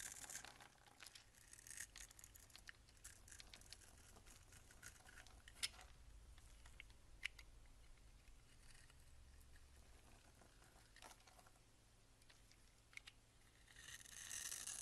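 A box-cutter blade scrapes the surface of a solid peach bar soap held in hand, shaving off soap crumbs. Quiet, bright, crisp crackling and scratching come in short bursts with a few sharp clicks over a faint low hum, and the scraping swells louder at the very end.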